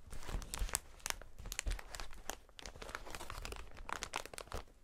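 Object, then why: Plastic air cushion packaging strip. A strip of clear, hollow, air-filled plastic air cushions is held in gloved hands and squeezed and crinkled. The result is a dense run of sharp, bright crackles and crinkles, with soft low thumps underneath as the cushions are pressed.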